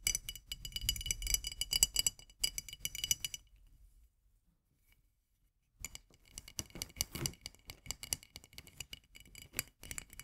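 Long nails tap rapidly on the glass body of a full jar of marmalade. The taps are quick, bright clinks and clicks with very short ring. They stop for about two seconds of near silence in the middle, then resume at the same fast pace.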